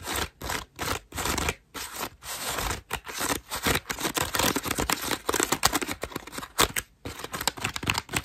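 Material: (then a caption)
Foam. Long nails scratch and scrape the ruffled petals of a cream foam bath loofah up close. The result is a rapid series of bright, crackly rasping bursts separated by brief silences, with little low-end weight.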